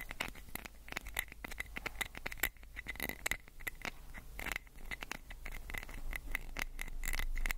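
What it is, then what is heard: Plastic pill bottle scratched and tapped. Fingernails scratch and tap along a small amber-orange plastic prescription pill bottle with a white cap and label, held in one hand near the recorder. Quick, irregular clicks and scratchy strokes patter throughout, with a faint recurring tone near 2 kHz, over a steady low hum that grows slightly louder toward the end.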